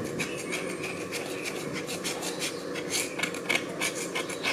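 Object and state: Slate slab scraped with a knife.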